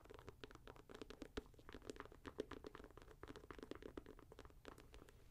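Long nails scratch the synthetic leather upper near the laces of a hollow, empty red, grey and white Nike Air Max 90 leather and mesh sneaker held in the hand. Quick, dense, quiet scratchy strokes and dry clicks carry a faint hollow low-mid tone around 400 Hz and stop dead with no ring.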